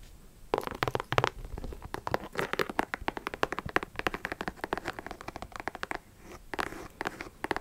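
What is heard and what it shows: A pink and black high-top sneaker with a leather/synthetic upper and rubber sole, hollow inside, is tapped and scratched with long acrylic nails. The result is a quick, dense run of short, dry clicks and crinkly scratches with a faint low hollow thump, pausing briefly near the end before a few more taps.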